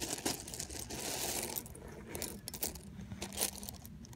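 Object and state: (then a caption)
Pile of mixed plastic and metal buttons. Fingers rummage through a large loose pile of small mixed plastic and metal sewing buttons, making them clatter together. The sound is a steady, bright rattle of dense clicks and ticks, with a few louder bursts as handfuls shift and tumble.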